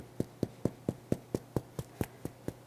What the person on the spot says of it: you can tap the bottom. I dunno if you can hear that on the mic. And it sounds kind of hollow. That tells you your bread is done.